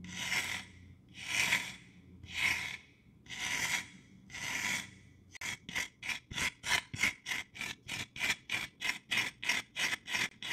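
Long dark-painted nails rub and scratch a hand-sized, apparently solid rectangular wooden block with a painted or carved jack-o'-lantern face, held in one hand. Five slow, drawn-out raspy scrapes give way to a rapid run of about fourteen short, bright scratching strokes.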